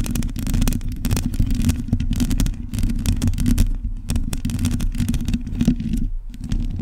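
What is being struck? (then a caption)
Metal mesh microphone grille. Long nails scratch the bare metal mesh grille of a hollow microphone head. The sound is a continuous, dense scraping rumble, heavy in the low end, broken by quick bright crackles as the nails drag across the mesh.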